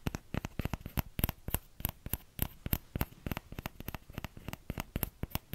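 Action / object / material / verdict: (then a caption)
tap / small plastic ladle / plastic / none. Fingertips tap the hollow bowl of a small orange plastic ladle in a quick, uneven rhythm of about thirty short taps. Each tap is a dull, low knock with a faint bright click on top, dying away almost at once.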